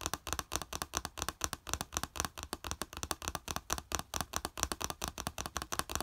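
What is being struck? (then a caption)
Small plastic plate. Fingertips and nails rapidly tap and scratch a small, flat yellow plastic plate with a slotted raised edge, lying on beige fabric. Dozens of quick, dry, clicky hits form a steady, busy rhythm, each one bright and very short with almost no ring, over a faint low hum.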